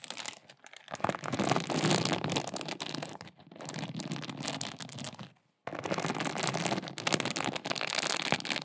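A large, thin, flat light-blue silicone scrubber pad covered in short soft bristles is held up close to the mic and scratched and raked with long acrylic nails. Dense, bright crinkling scratches come in fast, irregular bursts, with brief pauses near 1 second, 3.4 seconds and 5.5 seconds.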